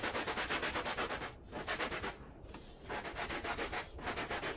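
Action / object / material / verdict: scrape / woven pile rug scrubbed with a bristle brush / wool pile / none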